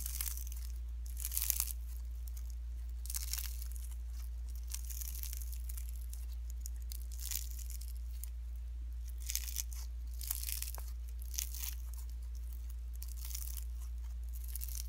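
Pink slime mixed with fine shredded cellophane is stretched, folded and squeezed by fingertips and nails. It gives off repeated bright, crinkly crackling bursts over a steady low hum, with no talking.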